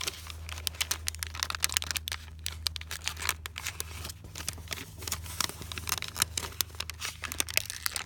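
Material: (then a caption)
Paper. A thin, hand-sized sheet of white paper with faint printed text, already crumpled and lying on a quilted canvas cushion, is crinkled and rubbed by fingertips. Dense, bright crackles and sharp rustling snaps come in quick bursts throughout, over a steady low hum.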